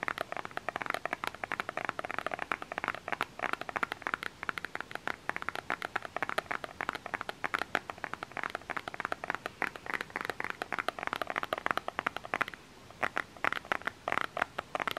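A small plastic lotion bottle with a label is tapped and scratched with the fingernails of both hands, producing a rapid, steady stream of dry, sharp clicks with almost no ring. The taps are light and mid-pitched with little bass, broken by one brief pause near the end before the clicking resumes.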